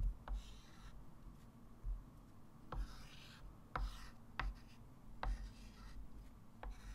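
A white chalk stick draws arrows, circles and digits on a small, solid, flat wood-framed chalkboard, rubbing and scratching across the surface. Soft, airy strokes alternate with six sharp taps as the chalk meets the board, over a quiet low background hum.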